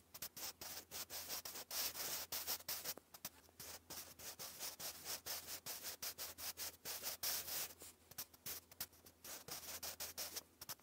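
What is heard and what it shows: A sharpened wooden graphite pencil writes English cursive across a thick grey lined cardstock sheet lying flat. Quiet, bright scratching and rubbing strokes come in rapid bursts throughout, over a faint low hum.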